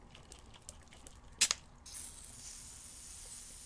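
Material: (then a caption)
Glass. A glass spell bottle holding an alcohol-banishing liquid mixture is shaken with its top covered, giving faint scattered ticks, then a loud double knock. A steady, bright fizzing hiss follows and carries on to the end, the sound of gas forming inside the bottle.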